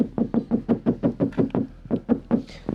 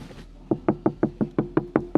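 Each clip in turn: First: About a dozen quick knuckle knocks give a boomy low thud on a bare, undamped metal car panel. Second: Nine quick, dull knocks around 300 Hz that die instantly: a deadened metal body panel sounding solid.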